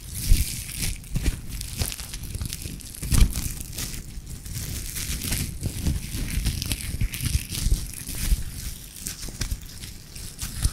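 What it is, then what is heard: Nylon mesh bath sponge. A light green nylon mesh bath puff, soft and hollow, is held in the hands close to the recorder and squeezed and rubbed with the fingers. It gives a steady, close crinkling and crackling with many short, sharp rustles over a heavy low rumble of handling. The bright crinkle texture runs the whole time without pause.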